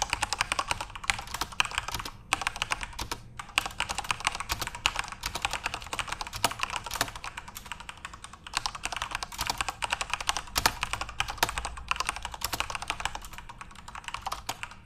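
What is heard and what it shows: Both hands type rapidly with their fingertips on a full-size Corsair RGB-backlit mechanical keyboard with plastic keycaps. The result is a dense, steady stream of short, bright clacks that stop almost instantly, with very little low end.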